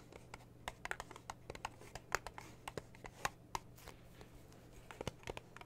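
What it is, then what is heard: Metal tea tin tapped with fingernails. Long blue nails tap and scratch the printed metal lid of a small red metal tea tin, making a quick, uneven run of sharp, bright clicks and light scrapes over a faint steady low hum. The hand then lifts and holds the tin, and the clicks give way to soft handling noise.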